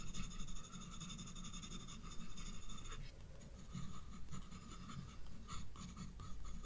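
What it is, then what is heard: Pencil shading on sketchbook paper. A black graphite pencil shades the bulb area of a page in a spiral paper sketchbook with repeated scratching strokes. A soft, continuous low rasp rises and falls with each stroke, with faint steady high tones running underneath.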